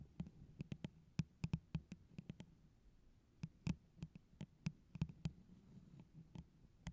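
A tall, hollow, empty holographic plastic tumbler with a pineapple print is held over the microphone and tapped on its sides with long orange acrylic nails. A quiet, irregular run of quick taps follows: each is a sharp, bright click over a low, hollow thump, dying away almost instantly against a faint low hum.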